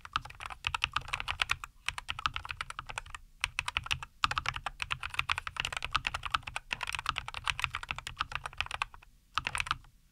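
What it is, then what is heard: Mechanical keyboard with plastic keycaps. Both hands type continuously with their fingertips on a compact 75% NuPhy Air75 V2 mechanical keyboard with Cowberry linear switches, a white case and green-and-white plastic keycaps, resting on a wooden desk. Rapid, crisp, bright clacks come in dense runs, with brief pauses near 1.7, 3.3, 4.1, 6.6 and 9.1 seconds. Each keystroke is sharp with almost no ring and little low end.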